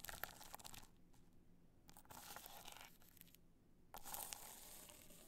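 Long nails scratch the surface of a hollow, black hard-shell clutch covered in multicolor rhinestones, held in the hand. Bursts of dry, bright, crunchy scraping come and go, separated by quieter pauses. The final burst starts abruptly and is the loudest.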